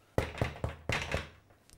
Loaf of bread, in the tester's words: Tap the base. If it sounds hollow, it's cooked.